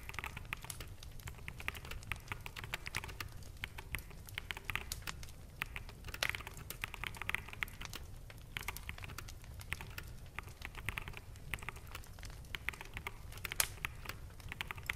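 Both hands type on a full-size black plastic mechanical keyboard with hollow keycaps, fingertips tapping the keys. A steady stream of quick, dry, bright clacks runs throughout over a constant low rumble, with short bursts of faster typing.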